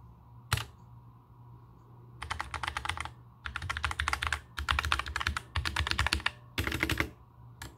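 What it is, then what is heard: Plastic mechanical keyboard being typed on. Both hands type with their fingertips on a compact black mechanical keyboard with plastic keycaps, resting on a table. A single sharp click comes first, then bursts of rapid, bright clacking arrive in several quick runs separated by short pauses, over a steady low hum. The clip ends on one last click.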